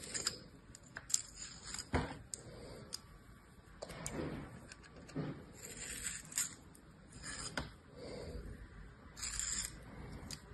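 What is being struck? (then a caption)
Kinetic sand in a plastic mold, cut with a metal blade. A thin metal knife blade scrapes and slices across hard, dry beige kinetic sand packed full into a hand-sized orange plastic star-shaped mold held in one hand. The result is a series of quiet, dry, gritty scrapes and crisp crunching cuts with a bright, hissy edge, broken by short sharp clicks that die away at once.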